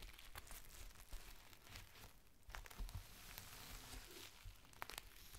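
A thin, clear plastic rain cover is folded into a strip while palms and fingertips press and crinkle it. The result is a dense run of dry crinkling and sharp, bright crackles with quick, tearing-like bursts over a steady low rumble.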